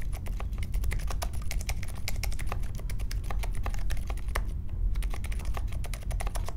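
A small 60% Polaris mechanical keyboard with a grey case, white, mint and pink plastic keycaps and silent linear Silent Alpaca switches sits on a marble desk and is typed on steadily with the fingertips of both hands. Soft, muted, bright key ticks patter quickly and evenly over a constant low rumble.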